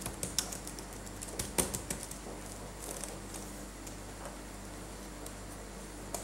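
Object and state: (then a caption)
Plastic laptop keyboard. A latex-gloved fingertip taps individual plastic keys on a dirty black laptop keyboard during cleaning. The sharp, bright clicks come at an irregular, sparse pace, with a couple of louder taps over a quiet, steady low background hum.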